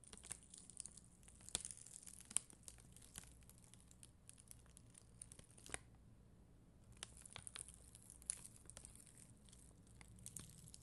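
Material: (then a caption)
Plastic. A black mascara spoolie is brushed over the clear gems of a flat plastic rhinestone sticker sheet, solid red and clear acrylic gem stickers on white backing. The result is a quiet, dense, bright crackling scratch made of many tiny clicks, with brief peaks. It pauses for about a second near the middle, then resumes.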